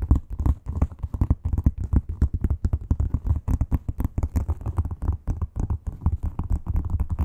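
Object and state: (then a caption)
Textured leather wallet tapped and scratched with nails. Long acrylic nail tips tap and scratch quickly across a flat, red, croc-embossed leather wallet. The result is a dense, steady stream of dull, low thuds, each dying away almost instantly, with a faint scratchy texture between them and almost no bright sound.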